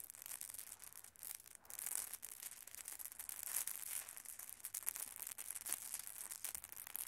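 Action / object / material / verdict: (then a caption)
scrape / glass marbles on carpet / glass / none. Small solid glass marbles scattered on a red carpet are swept and gathered by open hands, knocking against one another. The result is a quiet, steady, bright rustling wash dotted with many tiny, sharp clicks that stop almost instantly, with very little low end.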